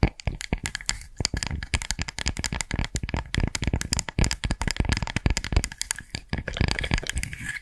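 Long nails scratch rapidly across the woven surface of a round woven straw coaster held close to the microphone. The result is a dense run of dry, crackling scrapes and clicks that blur together. Each one is short and bright, with a soft low thump underneath.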